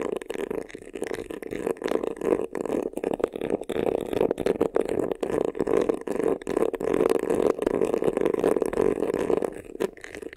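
Fingernails scratch quickly across the front of a medium black croc-embossed faux-leather vanity case, a hollow box with a textured surface. The result is a dense, choppy rasping concentrated in the low-mids, broken by brief gaps, with little deep bass or bright top end.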